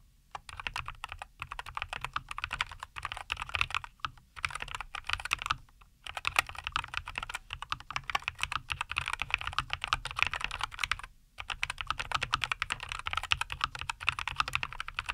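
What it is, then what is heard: Mechanical keyboard with plastic keycaps. Both hands type continuously with their fingertips on a NuPhy Air75 V2, a compact 75% mechanical keyboard with a white case, green and white plastic keycaps and linear Cowberry switches, resting on a wooden desk. The result is a steady, rapid stream of short, bright clacks with a faint low thump underneath, broken by brief pauses around 4, 6 and 11 seconds.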